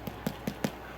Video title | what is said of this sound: Cheese and Herb Damper Bread - One Pot Chef | if it sounds like it's Hollow on the inside you know you're good to go